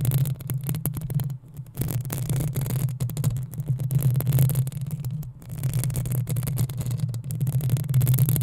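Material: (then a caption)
Metal mesh. Long acrylic nails of both hands scratch the hollow metal mesh head of a black desktop USB microphone, producing a dense, continuous rasping scrape with a strong low rumble around 150 Hz. Rapid grainy strokes run throughout, with brief dips near 1.5 and 5.3 seconds before the scratching resumes at full intensity.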